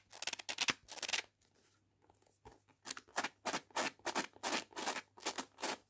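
A paperback copy of "Cuts Both Ways" with a card cover is held in the hand while long painted nails scratch along its page edges and cover. The result is quick, bright, dry scratching strokes in short rhythmic bursts, with a brief quiet pause before the strokes resume.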